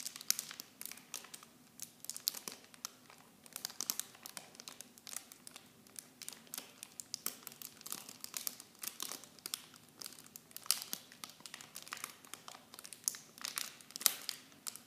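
Clear plastic film packaging is held in both hands and crinkled by fingertips and nails, giving a steady run of dense, bright crinkles and sharp snaps with almost no low end. The crackles come in irregular clusters with no ring-out, some louder pops standing out near the middle and end.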